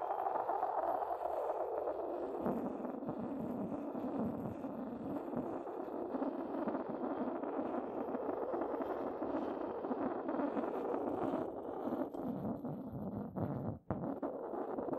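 A porcelain pestle rubs across the base of an inverted, hollow, white decorated porcelain mortar. The result is a continuous, dense midrange scraping with a gritty, slightly hollow texture. It stays at a steady level and drops out briefly near the end before resuming.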